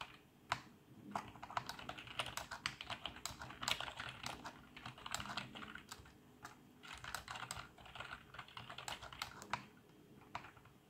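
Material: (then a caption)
Plastic. Both hands type quickly with their fingertips on a black plastic backlit membrane computer keyboard. The result is a rapid, uneven stream of short, soft, bright key clacks that die away almost instantly, with a few louder taps standing out.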